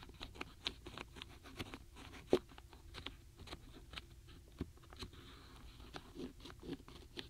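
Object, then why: Small wooden stamp blocks in a cardboard box. Fingertips with long natural nails tap and scratch across the tops of a full set of small solid wooden alphabet stamp blocks packed tightly in a shallow paperboard box tray. Quick, dry clicks and light crunchy scratches patter along unevenly, with one sharper knock standing out and a soft woody tone around 370 Hz under bright ticks.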